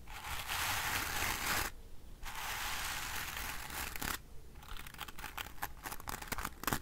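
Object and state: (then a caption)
Bristle hairbrush, scratched. Fingernails scratch and brush across the tips of the dense black bristles of a wooden-framed hairbrush. Two long, bright, rustling scratches are followed by a quicker run of short, crisp flicks across the bristles.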